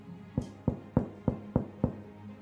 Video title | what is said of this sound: Pain maison comme à la boulangerie (pain cocotte) - Tuto Les gourmandises de LN | Vous entendez comment il sonne creux? C'est signe que c'est un pain bien cuit.